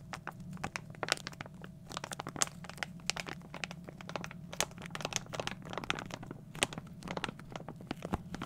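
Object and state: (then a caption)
Plastic foil bag being crinkled. A small glossy plastic foil toy blind bag is held in both hands and crinkled and squeezed with the fingertips. The result is a continuous run of bright, sharp crinkles and crackles, with louder snapping peaks scattered throughout over a faint steady low hum.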